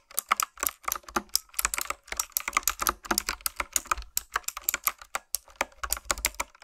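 Fingertips with long nails type steadily on a retro typewriter-style keyboard with round black plastic keycaps. The result is a fast, uneven stream of short, bright clicks that die away almost instantly, with little low end and brief pauses between bursts.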